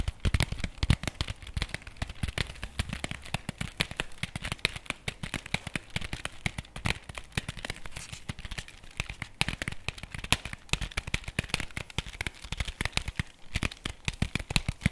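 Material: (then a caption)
Cardboard. Fingertips and nails tap and scratch the front of a flat printed cardboard chocolate bar box held upright in both hands. Rapid, dense dry taps mix with scratchy, crinkly crackles, each with a dull low thud and a bright papery edge. The taps stop dead with no ring, forming a steady busy patter throughout.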